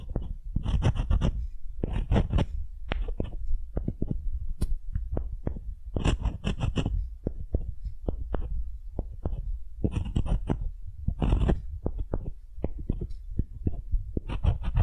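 A solid, light wooden ball held in the hand is scraped and tapped with the bowl of a wooden spoon. Soft, dull knocks with a deep, thumping body mix with bursts of brighter, hissy scraping. The close, muffled taps come in quick, irregular runs throughout.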